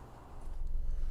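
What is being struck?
Nothing is struck.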